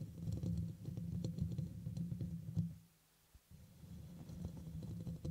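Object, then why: Metal mesh microphone grille. Fingernails scratch and tap around the sides of the hollow black metal mesh grille on a red microphone, making a dense, low, rumbling patter of scrapes and soft knocks. The sound stops briefly just before the middle, then resumes more quietly with scattered taps.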